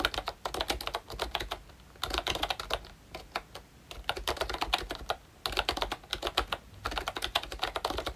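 Fingertips type on a pink plastic ROYCHE Disney Mickey Mouse retro membrane keyboard with round keycaps and a hollow body. Quick, bright, hollow plastic clicks come in bursts of rapid typing separated by brief pauses, each tap dying away almost instantly.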